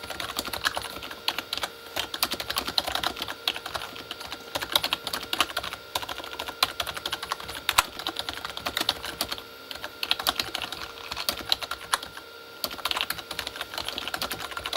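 Both hands type fast with their fingertips on a full-size, hollow Corsair K35 backlit keyboard with plastic keycaps on a plastic body. A steady stream of quick, bright, clacky plastic taps with almost no low end dies away almost instantly after each stroke. There is a brief lull near the 12.5-second mark before the typing picks back up.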